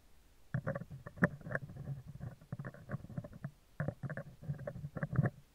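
Metal tweezers scratch the left side of a round, hollow steel wire-mesh microphone grille. The result is bursts of close, muffled scraping and rasping, heavy in low rumble with little brightness, in two clusters separated by a short quieter pause.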